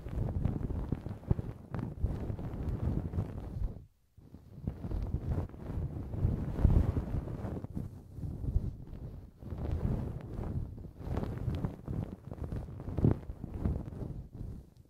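A thin wooden or bamboo earpick steadily scratches inside the ear canal of a small, solid silicone model ear mounted as the right ear of a binaural microphone. The result is a continuous, low, rumbling scrape with dense rubbing crackles, broken by a brief silence near four seconds before the scratching resumes.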